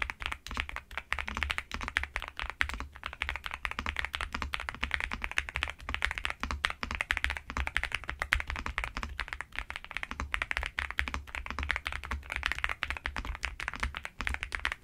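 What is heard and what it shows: Fast, continuous typing and tapping on a black NuPhy Gem80 mechanical keyboard with plastic keycaps, resting on a bedsheet, struck by fingertips and long nails. Dense, short, crisp clicks run throughout, bright on top with a low thud underneath.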